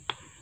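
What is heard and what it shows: Two sharp knocks on a wooden tree trunk, checked while choosing wood to repair a bridge. Each knock is a short, bright tap that dies away almost at once. The trunk sounds solid, a sign that the wood is very strong.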